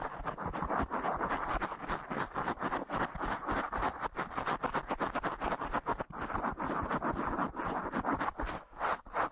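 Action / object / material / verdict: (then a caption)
scrape / foam microphone windscreen / foam / none. Long natural nails and fingertips scratch quickly across a soft, porous black foam windscreen on a microphone. The result is a dense, rapid run of crackly scratching centered in the midrange around 1 kHz, with little low end and very short decay after each stroke.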